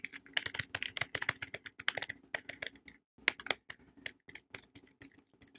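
Long painted nails tap rapidly on a palm-sized, solid Savannah soap bar held in a yellow printed paper wrapper, with an unwrapped soap lying untouched nearby. The result is a quick run of crisp, dry, bright clicks with almost no low end and no ring, pausing briefly near the middle before resuming.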